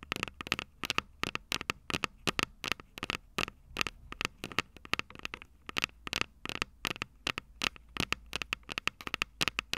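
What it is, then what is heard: Metal microphone capsules tapped with fingernails. Long purple nails tap the small, hollow, silver metal microphone capsules on a Tascam DR-05 recorder in a quick, irregular rhythm of 49 sharp taps. Each tap is a bright, dry click with a metallic ring near 2.7 kHz that dies away almost instantly, over a faint low background hum.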